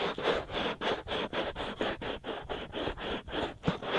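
Fingers of both hands scratch rapidly over the hollow white silicone ear shells of a binaural microphone. Thirteen quick, dry scratching strokes come in a steady, slightly uneven rhythm, each a broadband rasp concentrated in the mids with a bright edge. Each stroke cuts off sharply into a brief gap before the next.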